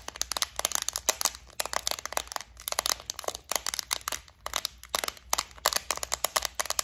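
Long nails tap on the lid and compartment walls of a flower-shaped clear plastic bead organizer holding gold beads. Quick, bright plastic clicks come in rapid clusters with short pauses between them, each dying away almost instantly and with a slightly crinkly edge.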